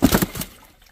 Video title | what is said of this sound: Sediment Problems and How to Fix it. Discolored Well Water After Heavy Rainfall. Full System Check | hear the water sloshing around in there